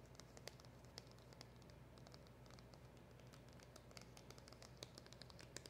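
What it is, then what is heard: Cardboard box tapped and scratched with nails. Long acrylic nails scratch and tap the surface and edges of the hollow back side of a small black printed cardboard packaging box. Quiet, continuous papery scratching runs over a low, steady rumble, broken by many brief, dry, bright clicks that die away almost instantly.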